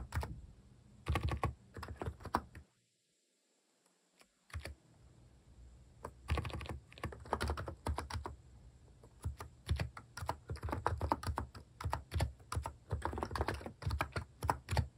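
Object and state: Plastic keyboard typing.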